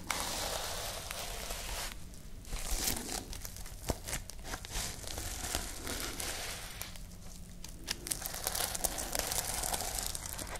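Long nails scratch and flip the plastic sequins on the fabric cover of a sequin-covered notebook held close to the microphones. A dense, bright crinkling and crackling runs throughout, pausing briefly twice, with sharp sequin clicks over a steady low hum.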